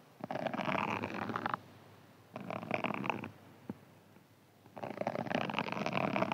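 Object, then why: Foam sponge with scouring layer. A hand-sized green foam sponge with a scouring layer is held in the hands and scratched and squeezed with fingernails. Three bursts of dense, rasping scratching, with a brief sharp click between the second and third, fill the mids and upper mids. Quiet pauses separate the bursts.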